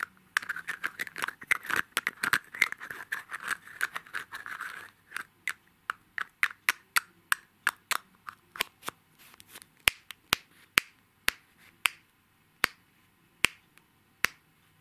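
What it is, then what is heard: Egg-shaped cosmetic compact, fingernail tapping. Fingernails tap quickly on a palm-sized, hollow, egg-shaped cosmetic compact with a shiny gold mirror-finish shell of plastic or metal, held in both hands. Dense, rapid, bright clicking with a faint scratchy texture fills the first five seconds, then the taps thin out into evenly spaced, sharp clicks. The last ones are crisp, isolated ticks with almost no ring.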